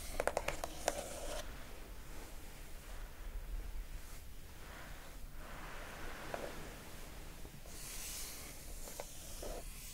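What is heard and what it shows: Long acrylic nails tap and scratch the lid of a closed lilac glossy-coated cardboard gift box with a silver foil hexagon label. A quick run of sharp, bright clicks opens the clip, followed by soft, hissing scratches over a quiet low rumble, with a few more taps and brighter scraping near the end.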